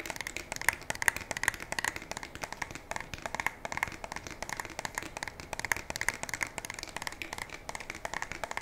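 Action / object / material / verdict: tap / polymer and metal shotgun / polymer / none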